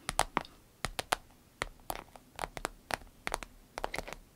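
Long nails tap and scratch the glossy vinyl front of a small striped vinyl zippered pouch. Around 18 quick, crisp, bright clicks come in irregular bursts, each dying away almost instantly, with faint scratchy rustles between them.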